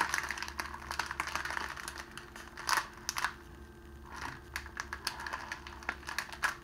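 A rolled sheet of clear cellophane, thin and hollow, is twisted and crumpled between the fingers of both hands while a rose lies to the side untouched. Dense, bright crinkling and sharp crackles come in uneven bursts with a few louder snaps, over a faint, steady low hum.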